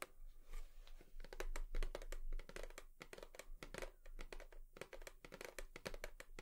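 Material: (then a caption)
Cardboard. A cardboard tissue box is tapped rapidly with long nails, producing a quick, irregular run of short, dry clicks and light crinkly taps that stop almost instantly. A faint low hum runs steadily underneath.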